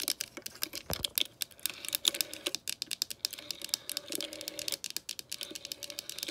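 Long nails tap and scratch quickly on the hollow plastic handset and clear plastic dial of a green vintage rotary telephone, its handset resting on the cradle. The result is a dense run of sharp, bright plastic clicks with rustly scratching between them, all high in pitch with almost no low end.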